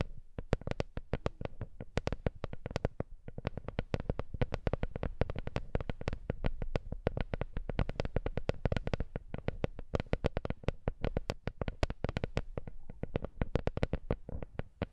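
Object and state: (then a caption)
Wooden lattice coaster. A small, flat, solid wooden coaster made of interwoven wood slats is held in both hands above the microphone and tapped with long manicured nails. The result is a rapid, continuous stream of short, dry clicks with a deep low thump and almost no ring.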